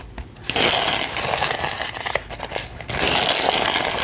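Long pink nails scratch and tap the surface of a medium, apparently empty pink glitter-printed paper gift bag with ribbon handles. After a quiet start, bright, crinkly papery scratching starts at about half a second. It eases into a few sharp taps around two seconds, then returns as steady rasping scratching to the end.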